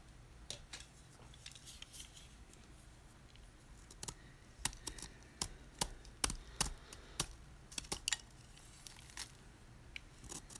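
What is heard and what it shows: A utility knife blade scrapes the edge of a solid white rectangular gym chalk block (magnesium carbonate), held in one hand over a tray of crushed chalk, shaving off flakes. Short, bright, dry scraping crackles come at an irregular pace over a faint low hum. They grow denser and louder in the middle of the clip before thinning out again.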